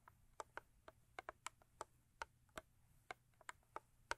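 Long acrylic nails tap rhythmically on both sides of a thin cardboard Crest toothpaste box lying lengthwise. About fourteen quiet, dry, clicky taps are heard, each with a hollow midrange knock around 930 Hz and a bright edge that stops almost instantly, over a faint low hum.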